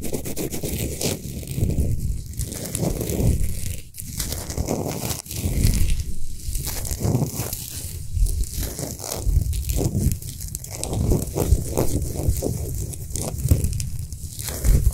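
Long nails on both hands scratch fast over a large, lit, spherical Himalayan rock salt lamp of solid salt. The result is a steady, dense, crackly rasping with a heavy low-end rumble and brief quieter dips, not separate distinct strikes.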